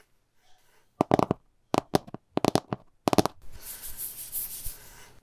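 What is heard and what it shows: Fingertips and short nails of both hands tap and drum on the glass screen of a large iPad Pro lying flat on a pink table, its screen showing a line drawing, with a pink stylus lying untouched beside it. Quick clusters of sharp, dry clicks come in four bursts. They are followed by a steady, bright, hissing texture that carries to the end.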